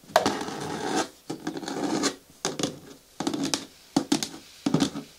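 Long fingernails scratch and tap the sides of a hollow, medium-hard green plastic bin with a lid. Bursts of dry, rasping scratches alternate with sharp, hollow taps that have a short resonant knock. Quiet pauses fall between the bursts.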